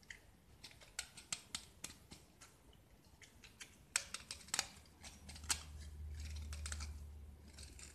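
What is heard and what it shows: A metal utility knife blade scrapes a small, solid white gypsum block with black speckled paint, held in the hand, shaving off plaster. Quiet, bright, crisp scraping clicks come in quick succession, each dying away almost at once. A faint low rumble rises underneath toward the end.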